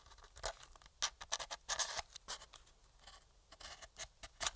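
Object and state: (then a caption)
Plastic game controller scraped. A thin metal pick scrapes along the shell seams and around the triggers of a hollow black plastic PS4 controller held in gloved hands. The result is a quiet run of short, bright, dry scratches and ticks with almost no low end, each one dying away almost at once.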